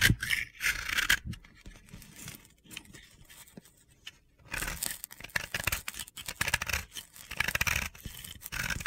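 A partly carved yellow-pink pressed-powder bath bomb, held in the hand, is scraped with a metal utility-knife blade. Bright, gritty scraping comes in quick bursts, fades to quieter scratches in the middle, then grows louder and more continuous again toward the end.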